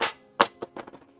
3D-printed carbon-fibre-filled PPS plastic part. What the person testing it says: a very very rigid plastic, which means it's brittle